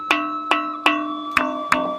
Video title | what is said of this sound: SEJARAH ASAL USUL MISTERI BATU TULIS SANGHIANG DAN PERISTIWANYA #Part1 | menurut keterangan-keterangan ini batuan berbunyi. Ada bunyinya di sini ada nadanya.